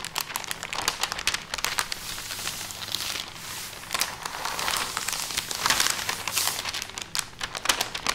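A thin sheet of parchment baking paper is unrolled on a fabric tablecloth, then pressed and smoothed flat with open palms and fingertips. Bright, dense crinkling and rustling fills the clip in quick bursts with almost no low end.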